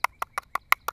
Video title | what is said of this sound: How to Grow Your Own Vegetables and Herbs - Gardening with Creekside | it sounds like plastic but they are not